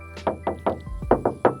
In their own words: kalau yang bunyinya nyaring begini, ini kaleng.